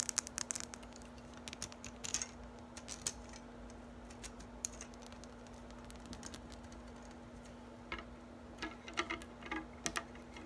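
An orange silicone-coated balloon whisk with a metal handle has its wires tapped and plucked with long nails and fingertips, first held in hand and then lying on a table. Quick, bright clicks and soft ticks come in irregular bursts with almost no ring, over a steady low hum.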